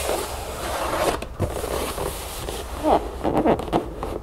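Long acrylic nails on both hands tap and scratch the back panel of a hollow cardboard cereal box standing on a table. A steady papery scratching fills the clip, broken by quick tapping bursts with short upward-sweeping scrapes near the end. The sound is dry and midrange with little ring.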